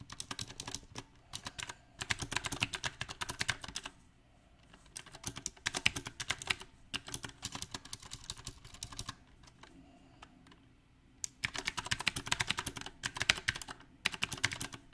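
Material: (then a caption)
Plastic. Fingertips of both hands type on a compact backlit mechanical keyboard fitted with round plastic typewriter-style keycaps. Quick bursts of bright, sharp clacks come in irregular runs, broken by short quiet pauses around 4, 10 and 14 seconds. Each click is dry and dies away almost at once.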